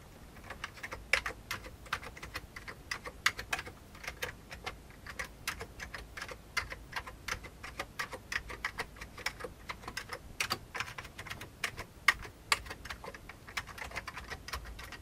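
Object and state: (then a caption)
Old plastic computer keyboard. Fingertips of one hand tap rapidly on the keys of an old beige plastic computer keyboard. Short, dry, bright plastic clicks follow one another in an uneven, steady stream over a quiet background, with little low-end weight and an occasional sharper, louder keystroke.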